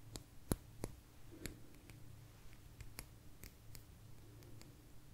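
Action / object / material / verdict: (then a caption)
tap / thin agate stone slice tapped with fingernails / agate / none. A small, thin, solid blue agate slice is tapped with long nails, giving quiet, sharp, dry clicks with a bright top and almost no ring. The taps come in an uneven, fairly quick series over a low, steady hum.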